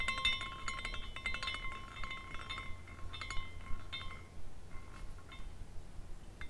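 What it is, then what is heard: Glass carousel figurine tinkling. A small glass carousel figurine spins, and its hanging glass horses tinkle against each other in irregular, bright chime-like clinks. Clear tones ring near 1 kHz and 2 kHz and fade quickly, over a steady low hum throughout.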